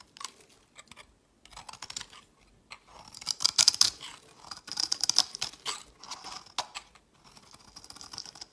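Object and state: Glycerin bar soap being carved.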